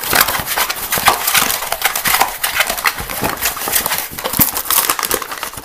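Fingernails quickly scratch a small, empty, hollow green plastic box that is held and partly lifted off the table. The sound is a dense, continuous run of fast, dry, bright scratches with almost no low end, each stroke clicking short with no ring.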